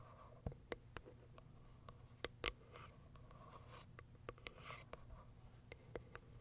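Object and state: Cardboard box.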